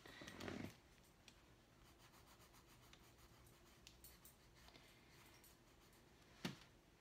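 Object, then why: Colored pencil on paper drawing pad. A hand draws with a dark colored pencil, a wooden pencil with a pigment core, on a large flat white paper drawing pad lying on a wooden desk. A dense rubbing, scratching stroke opens the clip, followed by a long quiet stretch of faint scratches and small ticks. A sharp, bright tap near the end briefly rises above them.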